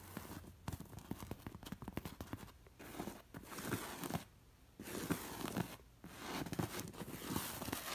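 Long nails scratch a stuffed cushion covered in short-haired cowhide and criss-crossed with black leather lacing. They rasp over the hair and catch on the straps in quick, dry, crackling strokes. The strokes come in bursts separated by brief pauses.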